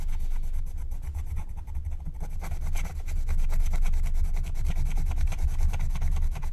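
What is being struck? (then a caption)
Coated scratch-art paper sheet scraped with a wooden stylus. A wooden stylus scratches and rubs the coating off a thin, black-coated scratch-art card lying flat, while the other hand holds the sheet still. Quick, somewhat uneven strokes make a dry, raspy scratching over a steady low rumble. The strokes continue for the whole clip.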